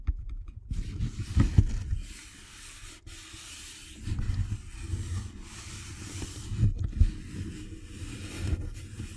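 The end of a Thin Mints cardboard candy box, held close to the microphone, is rubbed and scratched with fingertips and nails. The result is a muffled, low, rumbling scrape that swells and fades in uneven bursts, with only a faint bright hiss above it.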